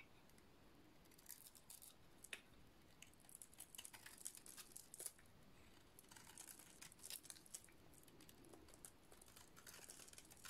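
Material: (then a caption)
Soap. A utility-knife blade shaves the painted dot-art layer off the surface of a solid purple dry soap bar. The result is a quiet, steady run of crisp, bright scraping and crinkling, with short sharp flicks throughout.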